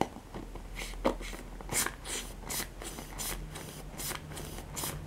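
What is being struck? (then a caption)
Plastic paddle hairbrush with nylon bristles. Fingertips and nails scratch and strum the nylon pin bristles of a handheld black plastic paddle hairbrush. The result is a steady run of soft, bright, crackly rasps over a low background hum, with a few sharper flicks standing out.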